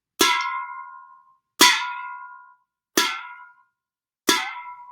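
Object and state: Aluminum can ringing when struck.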